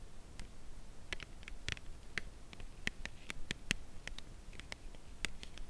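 Long nails slowly tap the narrow edge of a full cardboard chocolate bar box held horizontally. Each tap is a short, dry, bright click that dies away almost instantly, spaced unevenly over a quiet, low background hum.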